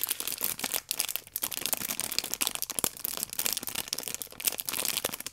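Long painted nails and fingertips rub and squeeze the clear plastic film around a small rectangular multipack of orange paper baking powder sachets with a red tear strip, held in both hands. A dense, continuous stream of bright, crisp crinkling and crackling is heard, with almost no low end and quick bursts that rise and fall without pause.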